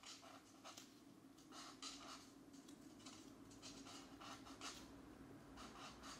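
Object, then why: Felt-tip marker on a paper page. A black marker's fine nib scratches across a paper coloring book page lying flat on a desk mat, coloring small areas while the left hand steadies the page. Quiet, bright, papery scratching comes in short strokes over a faint steady low hum.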